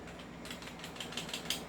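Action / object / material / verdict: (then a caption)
shake / airsoft rifle outer barrel, metal / metal / loose. A non-upgraded airsoft rifle is shaken, and its loose metal outer barrel, which is not fixed in place, rattles. Seven quick, bright metallic clicks follow a brief quiet start. The rattle shows the barrel is loose because the unit is not upgraded.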